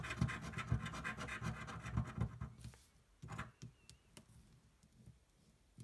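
A coin pinched between the fingers scratches the coating off a thin paper scratch-off lottery card resting on a table. A fast run of rough, gritty strokes with a low thud under each fills the first few seconds. Then it thins to a few sparse, quieter scrapes with pauses between them.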